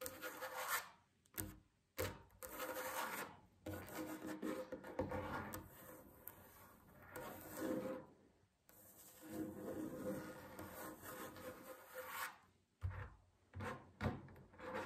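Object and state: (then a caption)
Wooden tabletop scratched and rubbed. A solid wooden tabletop is scratched with long fingernails, then rubbed with the palms. The sound is a series of dry, raspy scratching bursts with short pauses between them, followed by broader, smoother swishing rubs. A faint high hiss runs through the quiet clip.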